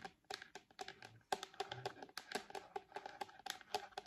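Long nails tap the back of a thin, solid purple hard plastic shell case fitted on an iPad. A quick, uneven run of short, sharp clicks sounds with a hollow mid-pitched knock and bright ticks. Each tap cuts off almost instantly with no ring.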